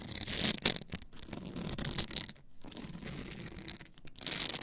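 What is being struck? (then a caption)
Stack of polycarbonate CD discs on a spindle. Long acrylic nails scratch along the ridged edge of a tall, solid stack of blank polycarbonate CD-R discs on a plastic spindle base. The sound is a bright, dry, rasping scratch in uneven bursts with brief quiet gaps, carrying little low end.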